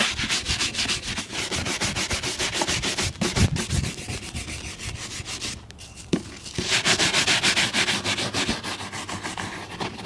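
A brown leather lace-up boot, worn on a foot resting on a blue plastic stool, is brushed briskly back and forth with a wooden-backed bristle shoe brush while the other hand steadies the boot. Rapid, rhythmic, bright scratchy bristle strokes come at about three per second. They ease briefly past the middle, with a soft knock, before resuming at full pace.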